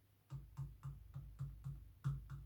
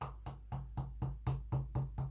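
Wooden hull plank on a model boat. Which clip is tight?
The first.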